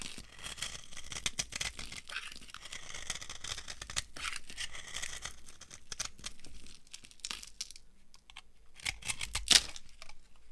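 A dry, solid beige soap bar is carved and chunked with a metal knife, crumbly pieces breaking off. Dense, bright, dry crunching and scraping crackles run throughout, with quieter pauses. A sharper, louder crunch lands near the end.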